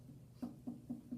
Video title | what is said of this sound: Trimming a Foot | You can kind of tap it to hear the thickness. It gets a higher pitch the thinner it is.